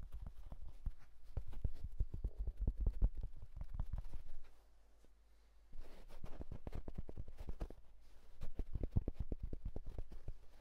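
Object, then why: Wool felt fedora hat. Fingertips grip and scratch the crown of a hollow houndstooth wool tweed fedora, making fast, soft, dull scratching and tapping with a low, muffled thud to each stroke. The rapid strokes pause briefly near the middle, then resume at the same quick pace.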